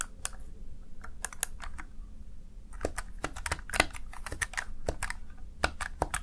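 Fingertips rapidly type on the keys of a small backlit plastic Razer Tartarus Chroma gaming keypad, seen from the side. Quick, sharp plastic clicks with bright tops decay almost instantly in an irregular stream, over a steady low hum.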